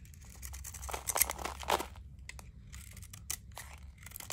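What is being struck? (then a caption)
Bar of soap. A palm-sized solid bar of dry soap, painted purple and teal with glitter and star sequins, is held in the hand while a utility knife blade scrapes and shaves off the painted surface layer, exposing blue soap underneath. Dry, crunchy scraping and crackling bursts rise and fall, loudest near the middle, with bright high crackle over a low hum as crunchy flakes fall away.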